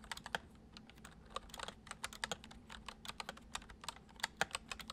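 Fingertips of both hands type fast, repeated taps on the hollow keys of a full-size white plastic computer keyboard resting on a wooden desk. Each keystroke is a short, bright click with almost no ring, forming a quick, uneven run of gentle clacks over a faint low hum.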